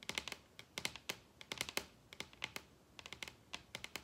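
Long red nails tap on a large solid wooden table top in quick, irregular bursts of about two dozen sharp clicks. Each tap is short and bright with almost no ring, and the clusters are separated by brief pauses.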